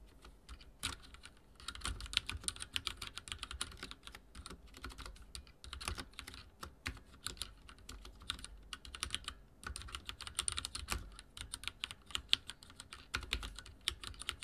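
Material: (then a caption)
Plastic. Fingertips type on a backlit mechanical keyboard with dark plastic keycaps. Rapid, bright clacking keystrokes come in steady bursts with brief pauses, each click short and dry with a soft low thump beneath it.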